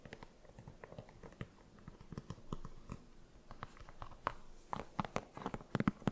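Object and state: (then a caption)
Synthetic mesh sneaker upper. Long nails tap and scratch the synthetic and mesh upper of a hollow, empty cream sneaker. There are quick, soft, dull taps mixed with light scratchy rustling, mostly low in tone. The taps grow sharper and louder toward the end.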